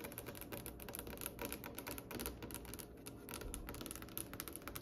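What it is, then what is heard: Polished wooden table top. Long nails tap rapidly on a glossy, varnished, solid brown polished wooden table top, making a steady stream of quick, dry clicks. Each tap dies away almost instantly, leaving a bright, crisp clatter over a soft low body.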